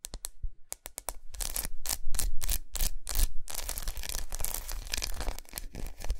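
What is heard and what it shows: Long nails quickly tap and scratch a large unwrapped solid milk chocolate bar with raised squares resting on a towel. Sharp, separate clicking taps at the start give way to a dense, rapid run of bright scratching and tapping over a soft low thud.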